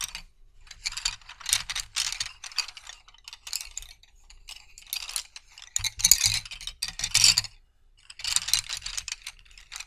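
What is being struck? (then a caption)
Bundle of wooden colored pencils. Fingertips shuffle a bundle of solid wooden colored pencils, rattling them against each other. The result is bright, high clicking and clattering in irregular bursts separated by short quiet gaps. The clatter is quick and dry, with almost no ring after each click.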